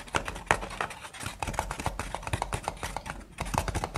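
Long painted nails tap and scratch the side wall of a single hollow brown kraft paper cup, giving a quick run of about two dozen dry, clicky taps mixed with soft scraping. Each tap is short with almost no ring and has a papery hollow tone centered around 900 Hz.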